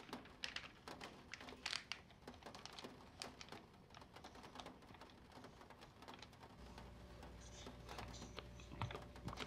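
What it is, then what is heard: Paper catalog pages. Fingertips tap and rub the thin, glossy printed pages of an open vintage paper catalog lying flat on a wooden table while flipping through it. Quiet, quick, crisp taps and papery rustles sound close and bright. A steady low hum joins in the last few seconds.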